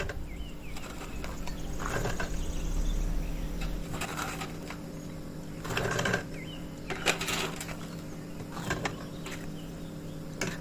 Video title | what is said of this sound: الزلابية المقرمشة بطعم زمان ❗سر القرمشة من أول مرة ❗ زى المحلات بالظبط | مقرمشة جدا وطعمها خطير، وهسمعكم كمان صوت القرمشة بتاعتها دلوقتي